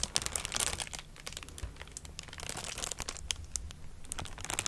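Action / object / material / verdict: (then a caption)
scrape / sheet of plastic bubble wrap / plastic / none. A thin, flexible sheet of clear plastic bubble wrap is held up in front of a microphone and crinkled and scratched with long dark nails and fingertips. It makes a steady stream of bright, high crackles and sharp dry ticks over a faint low rumble.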